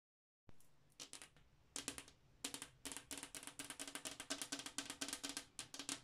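Long acrylic nails with black tips tap and scratch across a large, flat glass bathroom mirror, a solid pane mounted on the wall. Quick, bright, clicky taps come in irregular bursts that grow denser over time, each with a brief glassy ring around 277 Hz. Between the taps, faint scratchy sounds can be heard.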